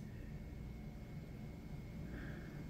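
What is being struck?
Nothing is struck.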